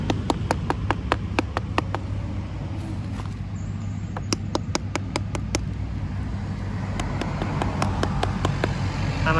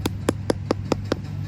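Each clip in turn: First: unripe durian. Second: nearly ripe durian.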